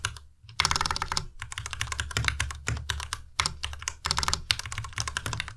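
Fingertips type on a white tenkeyless Ducky Miya Pro mechanical keyboard with plastic keycaps. Quick bursts of sharp, bright clicky keystrokes come in runs with brief pauses, each keystroke decaying almost instantly over a soft low thump.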